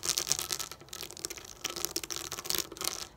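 Long acrylic nails tap the plastic domes of a pop-up dot sticker sheet lying flat on a table. The result is a quick run of light, bright, dry clicks with almost no ring and very little low end.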